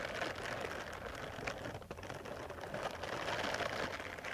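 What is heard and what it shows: Long metal nail tips scratch across the bristles of a small purple silicone face cleansing brush pad. The result is a steady, dense, rapid scratchy rustle concentrated in the mid range, with a faint brief dip partway through.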